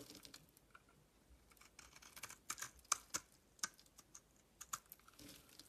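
A metal utility knife blade shaves thin layers off a solid soap bar with its white interior mostly exposed. The result is quiet, dry, crisp scraping with sharp, bright ticks that die away almost instantly, loudest in the middle of the clip.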